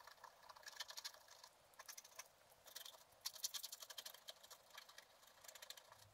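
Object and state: Scratch art paper card being scraped.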